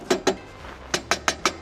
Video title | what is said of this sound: 이번주가 가기 전에 빌려서라도 사야하는 히트템 7가지 코베아 동탄점 | 둔탁한 소리 이게 1.5입니다 상당히 두꺼운 두께를 가지고 있어서